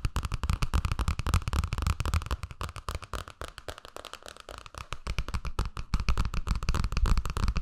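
Long painted nails and fingertips tap and scratch the glossy cardboard cover of a teal hardcover picture book with paper pages, held close to binaural mics, with pages flipped at times. Rapid, irregular, dull taps and scratches run throughout, thumpy and heavy in the lows with a short decay. The sound softens through the middle before the tapping grows louder again.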